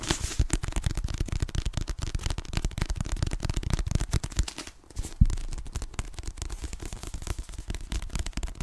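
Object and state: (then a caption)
Paperback book, tapped with nails. A solid paper "Fragile Things" paperback book, held in both hands, is tapped quickly with long nails on its cover and back. The result is a dense, continuous stream of short, dull, low-heavy taps with a faint papery crackle. The tapping briefly thins out near the middle before a sharper, louder tap resumes the quick pattern.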